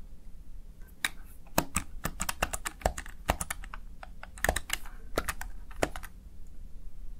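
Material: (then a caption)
Plastic. Fingertips rapidly press the keys of a Razer Tartarus Chroma plastic backlit gaming keypad. The result is an irregular run of short, sharp plastic clicks and taps with bright edges that die away almost instantly, over a steady low hum.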